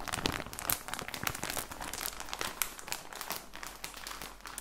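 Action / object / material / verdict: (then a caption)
scrape / plastic package of socks / plastic / none. A full plastic package of socks is squeezed and crinkled with both hands, giving a steady run of dense, bright crinkling and crackling with sharper pops among the rustle.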